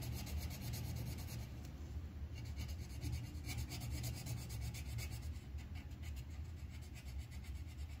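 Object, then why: Wooden colored pencil on a paper sheet over a clipboard. The tip of a green wooden colored pencil scratches along the stem of a flower drawing on a thin white paper sheet clipped to a clipboard. Quick, rhythmic, bright scratchy strokes run over a steady low rumble for the whole clip, with no clear pause between them.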